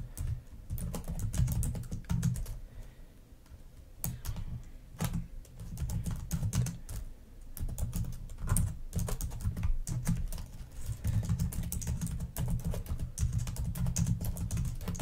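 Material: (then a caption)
Plastic. Long nails and fingertips type and tap on a black plastic laptop keyboard in irregular bursts. Quick bright clicks ride over a soft, low thudding from the keys, with short pauses between flurries and little ring after each tap.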